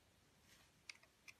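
A metal cutter blade shaves curls from the surface of a solid green marbled oval soap held in a hand with long nails. Over a faint, airy hiss, three quiet, sharp, bright ticks sound, centered around 2.2 kHz, each dying away almost instantly.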